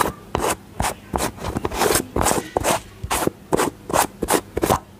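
Long fingernails tap and scratch the lid and body of a small round white plastic cosmetic tub with a yellow lid. The result is a quick, uneven series of short, raspy scraping bursts with a bright, hissy texture and almost no ring.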